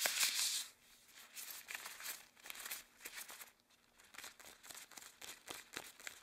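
Long cream rubber gloves worn on both hands flex, interlace and rub together, the rubber crinkling and squeaking in bright, high-pitched bursts. A loud rustle opens the clip, then a quieter, irregular run of short crinkles and squeaks continues throughout.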